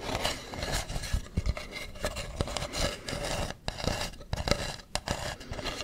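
Fingernails scratch and rub across the ribbed surface of a hollow carved wooden mask held close to the mic. The result is a steady, raspy scraping with bright hiss on top, a faint hollow ring around 580 Hz, and soft low thumps where the nails catch the ridges.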